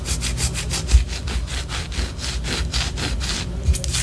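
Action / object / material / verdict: scrape / wax pillar candle / wax / none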